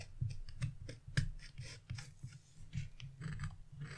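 A carving chisel scratches lines near the edge of a black-coated scratch-off art paper page resting on a wooden table. Quiet, short scratchy strokes come in quick succession, each with a dull low thud beneath faint bright rasping, with little ring after each stroke.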